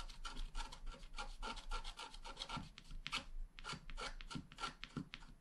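A wooden stylus scratches rapid grass strokes into the lower right of a flat black wax-coated scratch art card. Quick dry, raspy strokes follow one another in a steady rhythm, each with a bright scrape and a faint squeaky tone near 1.4 kHz. The marks end almost instantly with no ring.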